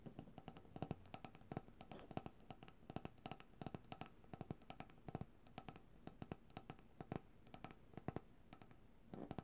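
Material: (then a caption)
Plastic. A medium white opaque cylindrical plastic coconut oil jar, hollow and held upright in both hands, is tapped and drummed with long dark-painted nails and fingertips. Quick, dry, hollow taps land in irregular bursts, each dying out almost instantly, with a dull low body and little brightness.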